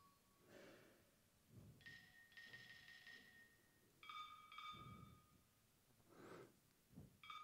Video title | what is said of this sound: ACADÉMIE DES SAVOIR-FAIRE - La Pierre – Elévation | La plus grosse, c'est celle qui propose le son le plus grave